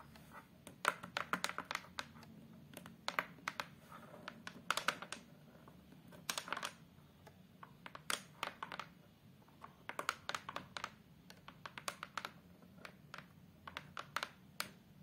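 Long acrylic nails tap and scratch across the brown fiberboard (hardboard) back of a photo frame, a thin, flat, solid board. Quick bursts of sharp, dry clicks with bright edges and almost no ring stand out over a soft, steady scratching hiss. The taps come in uneven clusters throughout.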